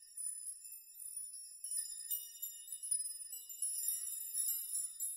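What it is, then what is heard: Metal nail chime. A large metal nail chime, a curtain of many thin hanging metal rods or nails surrounding the player, is swept and rocked by fingertips and hands so the hollow-sounding rods clink together. The result is a quiet, high, bright shimmer of irregular tinkling clinks that each fade quickly, with no low end.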